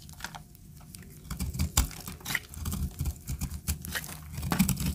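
A utility knife blade scrapes and carves a solid, hand-sized, tan bar of dry soap held in a hand with long red nails, shaving it into crumbly flakes. A steady run of dry, crunchy scrapes and crisp crackles rises and falls, with short bright ticks over a soft low rumble.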